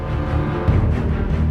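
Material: Nothing is struck.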